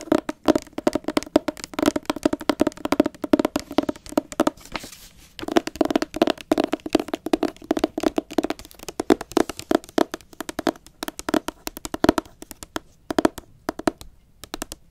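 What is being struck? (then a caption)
Hardcover book with glossy paper jacket. Long acrylic nails tap and scratch the front cover of a solid, medium hardcover book, "More Than Enough," with a glossy blue paper dust jacket, held up close. The result is a rapid, steady stream of short, dry clicks and taps with a hollow mid tone around 312 Hz and a light scratchy texture. There is a brief lull around the five-second mark before the tapping resumes.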